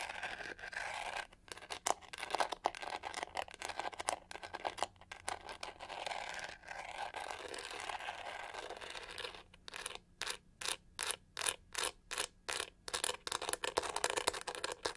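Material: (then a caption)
Plastic. Long nails scratch and tap across the pink, pyramid-textured back of a hollow plastic hair brush. Dense, bright scratching and crinkly crunching fill the first nine seconds or so. The sound then breaks into a steady run of evenly spaced, short scraping bursts with quiet gaps between them.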